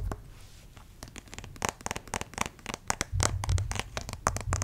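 Fingernails scratch and tap on the head and arm of a white plastic acupuncture doll with printed lines, about 50 cm tall and likely hollow. Rapid, irregular clicks and dry scrapes follow each other with bright, crisp edges over a soft low rumble. The taps get louder and denser toward the end.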